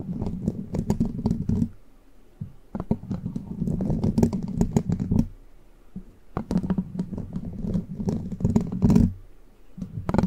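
Long plastic witch-finger nail caps on one hand scratch and tap from above on the rounded, hollow metal mesh grille of a large condenser microphone. Busy bursts of quick clicks and scrapes ride over a low hollow rumble centered near 180 Hz, broken by a few short quieter pauses.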